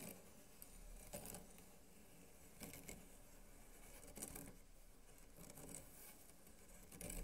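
Fingertips and short nails of both hands scratch across the slats of a flat bamboo mat with blue-white woven bindings and a green center strip, lying on a light wooden board. A quiet, steady rasping texture carries a low, muffled undertone, broken by brief, brighter scraping bursts as the nails drag over the slats.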